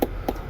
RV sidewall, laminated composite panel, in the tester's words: That's hollow, there's nothing. So the floor is gone and the wall is gone.